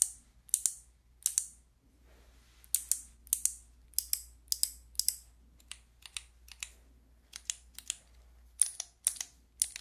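Long nails click and tap the white keycaps of a handheld fidget toy with a clear plastic frame. Each press gives a short, bright plastic click that dies away almost at once. The clicks come in quick irregular bursts over a faint low hum.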